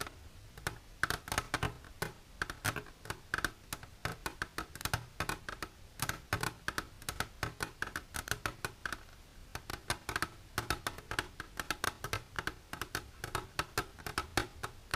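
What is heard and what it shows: Long silver nails tap the top surface of an empty, clear plastic container lying flat. A rapid, steady run of sharp, bright clicky taps continues for the whole clip, each dying away almost instantly with a light hollow body beneath.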